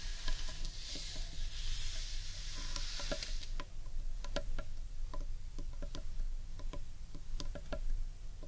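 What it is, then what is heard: Wooden bowl tapped and scratched with nails. Long nails scratch and tap the underside of a large, hollow, carved wooden bowl, working over its sides and top. A bright, hissy scratching fills the first few seconds, then gives way to a string of sharp, short, dry taps. A steady low rumble sits underneath throughout.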